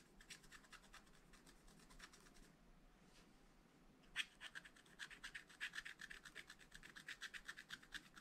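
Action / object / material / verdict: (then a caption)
scrape / coated scratch-art paper scraped with a wooden stylus / coated paper / none. A wooden stylus held in the fingers scratches and rubs the surface of a thin, flat, black-coated scratch-art paper page in a spiral pad. Quiet, dry, bright scratching strokes come in uneven bursts, with a short pause around the third second, then a sharper stroke followed by a denser run of quick, rasping scrapes.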